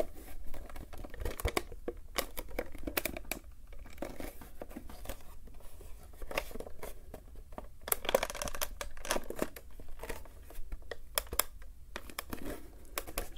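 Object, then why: Hard plastic joystick base. Fingertips and thumbs tap and scratch across the underside of a black hard plastic joystick base, wide, round and hollow, with a printed label and barcode sticker, held in both hands. Dense runs of sharp, bright taps and scratchy rasps come in uneven clusters over a low, steady background hum. Each tap dies away almost instantly with a faint hollow tone.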